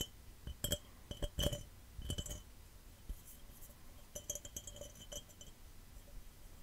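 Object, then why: Glass cup. A glass cup is tapped fast and scratched, giving bright, short clinks with a ringing tone. The irregular taps come in quick clusters over soft, low rustling between them.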